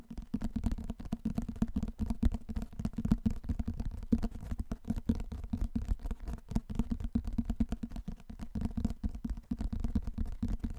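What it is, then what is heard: Hardcover book. A large hardcover book is tilted and turned in front of the mic while fingertips and nails tap and scratch its cover and edges. The result is a steady run of quick, dull, low taps and soft scratchy rubbing with a faint hum-like tone around 230 Hz and almost no high end.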